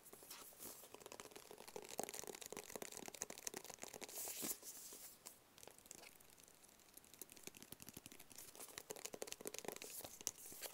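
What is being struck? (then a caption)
Small rigid cardboard box. A small, rigid, hollow black cardboard gift box is held up and tapped rapidly with fingertips and nails. The result is a dense run of crisp, dry, bright clicks and light scratchy taps with almost no low end, each hit dying away instantly. A slightly louder, busier flurry comes around the middle before the tapping settles back to a steady patter.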